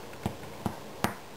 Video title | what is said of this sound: Whole Wheat Bread by Hugs!Ma Part 3 of 3.wmv | And if you thump the bottom, it sounds hollow and the bread feels light, and you know it's done.